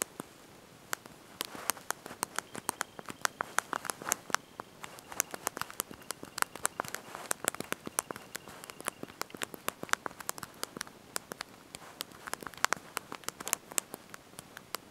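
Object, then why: Plastic keys of a slide-out phone keyboard. Thumbs and fingertips press and tap the small backlit plastic keys of a slide-out mobile phone's QWERTY keyboard, held in the hand while typing a message. The result is a quiet, irregular stream of many sharp, dry clicks with almost no ring, bright and light with little low end.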